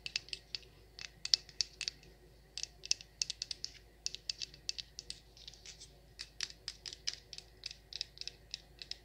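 Long nails scratch and tap the rim and sides of a wax pillar candle that is hollowed at the top where it has burned. Dozens of quiet, quick, dry clicks and scratches sit almost entirely in the high range, each dying away almost instantly.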